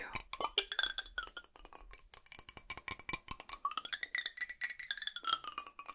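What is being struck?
Metal drinking bottle.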